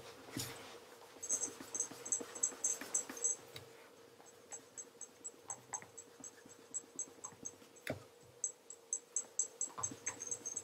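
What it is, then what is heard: Leather loafer being polished. A black leather wingtip tassel loafer with a wooden shoe tree, held in one hand, is polished by rubbing it with cloth-wrapped fingertips. Bursts of bright, high squeaks come in quick rhythmic strokes, with pauses and a faint steady hum underneath.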